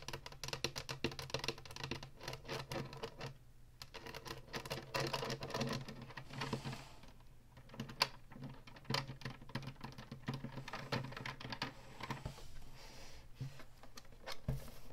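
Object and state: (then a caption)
Hollow plastic game console. Long nails tap and scratch the ridged top surface and button panel of a hollow plastic Atari Flashback 2 console. Quick, dry clicks with bright, crisp edges come in steady clusters, mixed with scraping strokes over a low, constant hum.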